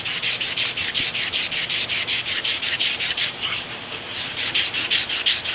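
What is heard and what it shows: An open hand with abrasive paper sands back and forth along the rusty cast iron/steel overhead ram of a K&T milling machine, whose overhead ram is stuck. Rapid, steady strokes produce a bright, gritty rasping hiss centered around 3 kHz with almost no low end. The strokes briefly soften and blur together midway before resuming their even rhythm.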